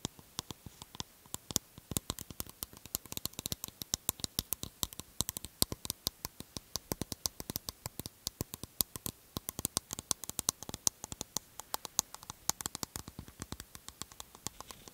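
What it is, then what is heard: Aluminium aerosol can. A medium aluminium aerosol can is held close and tapped and scratched quickly with long nails along its printed body. The result is a dense, rapid stream of sharp, bright clicks and scrapes, each dying away almost instantly over a faint low hiss.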